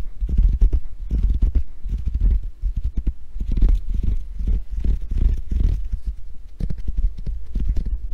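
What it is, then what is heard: Hand grip trainer with foam handles. A small handheld grip trainer with ridged pink foam handles and a chrome steel coil spring is held in both hands, tapped and scratched with long painted nails, and squeezed. The result is a steady stream of quick, dull, muffled taps and scratchy rubs that sit low and soft, with almost no bright edge or ring.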